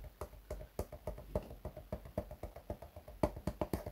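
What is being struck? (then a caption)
Patent leather shoe upper. Fingernails tap and scratch the upper of a black glossy patent leather shoe with a rubber sole, held in the hands. A quick, uneven run of short, dry, quiet taps sounds close, each with a soft low thud and a brief midrange ring that fades almost at once.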